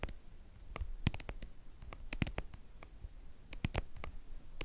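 Long painted nails scratch and tap the flat face of a white, hollow, hand-sized soft plastic cream tube. Quick, dry, bright clicks cut over a low, soft scratching rustle, and each tap stops at once with no ring.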